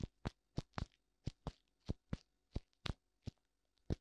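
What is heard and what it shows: Fingertips tap both white silicone ears of a black binaural microphone, making 13 short, muffled thumps at an uneven pace. The taps are deep and dull, with most of their energy in the low range and a faint brief tick on top. Each one dies away almost instantly into quiet.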